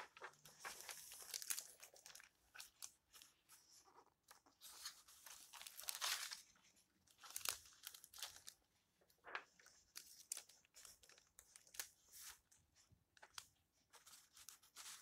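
An old hardcover book with yellowed paper pages lies open on a table as fingertips with long red nails rub a page flat and then turn the pages. The result is soft, dry crinkling and brushing, mostly bright and high, broken up by sharper crisp page flips.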